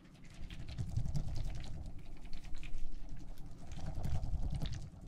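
A clear plastic tumbler with a lid, filled with teal gel water beads, is held in one hand and shaken. The beads rattle and slosh in a soft, low, steady patter that swells and fades in waves.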